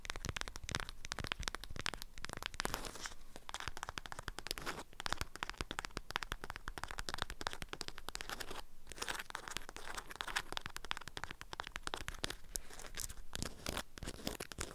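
Long acrylic nails scratch and tap a small bundle wrapped in an orange-print beeswax fabric food wrap. The waxy fabric gives a steady run of dense, crinkly crunches and sharp clicks with bright edges and almost no ring, at a quiet, even level throughout.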